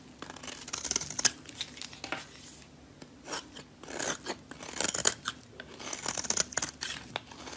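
A solid green oval bar of soap, held in the hand, is scraped with a metal blade that lifts thin shavings. Bursts of bright, crisp scraping and shaving come in uneven strokes separated by short quiet gaps, with almost no low end.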